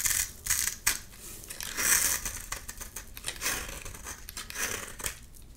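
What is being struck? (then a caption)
Bar of soap. A palm-sized solid orange bar of soap, held in one hand with pink-nailed fingers, is scraped and shaved with a box-cutter blade. Bright, crisp scraping and crackling strokes come in quick bursts, with sharp clicks as curls and crumbs fall off.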